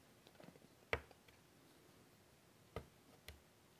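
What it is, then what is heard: Chalk on a chalkboard. White chalk drags across a large, flat chalkboard in a wooden frame in short strokes, making quiet, dry scratching and rubbing sounds. Three sharper, louder chalk strikes stand out against faint, sparse scratches. Each is brief and bright with almost no ring.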